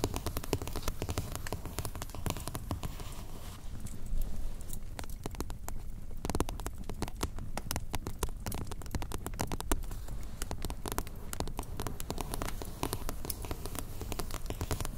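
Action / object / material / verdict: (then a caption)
tap / paperback book cover tapped with fingernails / paper / none. Long dark-painted nails on both hands tap quickly across the glossy cover of a green softcover PONS Korean textbook lying flat on a spiral sketchbook. The result is a steady, dense patter of short, dull taps, heavy in low thud from the solid stack of paper, with little brightness and almost no ring after each hit.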